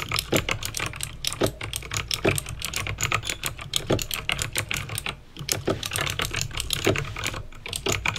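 Fingertips with painted nails type fast on a backlit plastic mechanical keyboard with clicky green switches. A rapid, dense stream of sharp, bright clicks with short decay rides over a steady low hum, with a brief pause about five seconds in.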